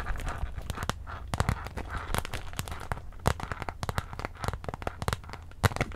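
A small, clear, iridescent holographic PVC handbag with a gold chain strap, hollow and empty, is held in both hands and squeezed and scratched with long acrylic nails. The plastic crinkles and crackles in a dense, irregular stream of short, sharp scratchy ticks over a soft, low rustling bed.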